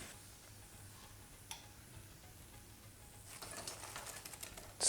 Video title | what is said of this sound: The Secrets of Indian Cooking: Indian Street Food | You can hear how crispy they are